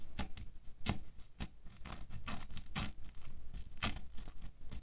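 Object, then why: Bead foam clay sheet poked with a wooden stick. A wooden stick pokes and scratches through a thin orange sheet of bead foam clay with a lacy, holed texture, resting on a white table. It makes a quiet run of crisp, crackling pokes and short scraping rasps, with bright ticks over a soft low rumble.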